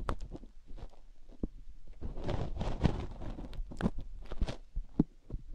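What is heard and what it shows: A fingertip and nail dig into the ear canal of a single silicone binaural-microphone ear and rub it. Close, muffled low thumps and soft scraping rubs come in an irregular rhythm, with brief brighter scratches standing out now and then.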